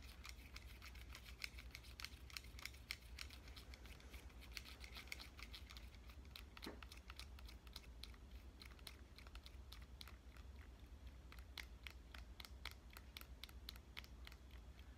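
Long dark-painted nails tap quickly and repeatedly on the side and back of a red compact digital camera with a metal and plastic body, held in the hand. The taps are sharp, bright clicks that die away almost instantly, over a steady low hum.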